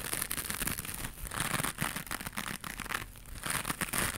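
Long pink acrylic nails scratch and rub a small, flat, white, textured woven or crocheted fiber scrubber pad, which is soft and not hollow and held in both hands. The result is a steady stream of dry, scratchy rustling, made up of many quick scrapes with a bright, hissy top end, that rises and dips throughout.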